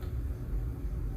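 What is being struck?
Nothing is struck.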